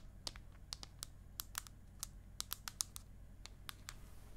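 Long acrylic nails and a fingernail tip tap on the aluminium back of an iPad mini, held horizontally and vertically. About sixteen short, dry, bright clicks land at an irregular pace, each dying away almost instantly, over a faint low, steady hum.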